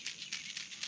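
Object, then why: Crankbait fishing lure with internal rattle. A Griffin Bait finesse crankbait, a shallow-runner (SR) or medium-runner (MR) fishing lure, is shaken by hand so its internal rattle sounds. Four quick, very tinny, high-pitched clicks are heard, almost all of the sound lying above 2 kHz, with almost no ring. The rattle is distinctly different from other baits, and fish are reacting well to it.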